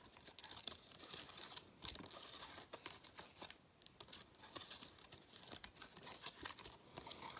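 A paper crown for a 2022 galette des rois, made of thin cardboard with a gold metallic foil facing and cut-out points, is held close in both hands while fingertips and nails crinkle, bend and scratch along the strip. The result is a quiet, dense, bright stream of crackles, crinkles and scratchy rustling with quick tearing-like bursts and almost no low end.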